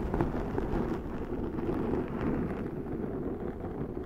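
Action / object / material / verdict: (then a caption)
scrape / foam microphone windscreen / foam / none. Long nails scratch across the top and side of a large round black foam windscreen on a Zoom microphone. The result is a steady, dense, crackling rumble, deep and muffled, with almost nothing bright on top.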